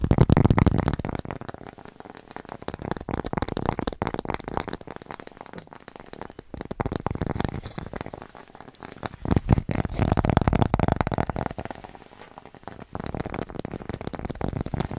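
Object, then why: Thin cork coaster. A thin, flat, solid square cork coaster with a red dot, held in both hands, is rapidly tapped and scratched with long nails at varying distances from the mic. The result is a dense, irregular stream of soft, low, dull clicks and rustly scratches that swell louder and fade several times as the hands move nearer and farther.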